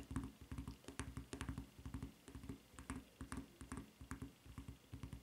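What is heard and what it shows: Long fingernails tap and scratch the serrated footbed of a white rubber flip-flop with a red rubber strap. It makes a quick, uneven stream of soft, dull taps with a faint bright scratchy click on top of each, continuing steadily throughout.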